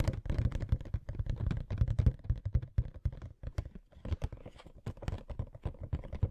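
A small, hollow cardboard Funko Pop box for Pennywise (no. 777), with a clear plastic front window and the figure inside, is held in both hands and turned to show different sides. It is tapped with fingertips and short nails. The result is a rapid, uneven stream of soft, dull, hollow taps with a low thumping body and short clicky edges that stop almost at once.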